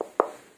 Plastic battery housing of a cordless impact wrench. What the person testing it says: jika kalian ketuk ini, bagian baterainya juga terasa berbeda, teman-teman, dibandingkan dengan Kovari ini